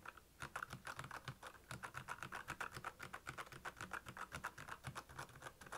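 Fast fingertip typing on a black, backlit plastic mechanical keyboard (Royal Kludge) produces a quick, uneven stream of about 40 short, dry keycap clicks. Each click is sharp, with a bright tone around 1.4 kHz and a soft low thump beneath it.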